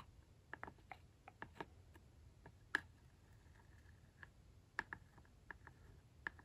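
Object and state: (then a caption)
Plastic toy barn roof. The metal-tipped point of a glitter tracing tool traces and scratches along the embossed logo on the red hollow plastic roof of a toy barn. About a dozen quiet, sharp ticks and clicks come at an irregular pace. Each is very short and bright, centred near 1.7 kHz, over a faint low hiss.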